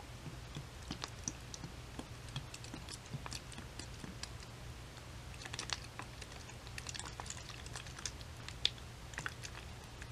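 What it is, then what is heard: Plastic bottle of liquid. Long white nails tap a clear plastic Dickinson's toner bottle with a white cap and label, filled with yellow liquid, as it is tilted so the liquid sloshes inside. Quiet, sharp, bright clicks are scattered over a steady low hum, with a few slightly louder taps standing out.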